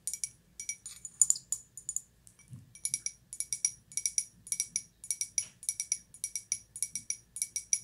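A small, hollow, empty white glazed ceramic cup is held in both hands and tapped and scratched with long white-polished nails. Quick, bright clicking taps with a faint glassy ring fall in fast clusters, with brief scratching in between, all very short and sharp.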